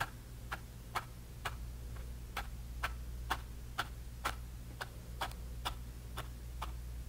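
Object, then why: Bristle brush on canvas panel. A bristle brush tip stipples grey paint onto a small canvas panel with orange paint, making 14 short, dry taps at a loose, roughly once-per-second pace. Each tap is a brief, bright tick that dies away almost instantly, over a steady low hum.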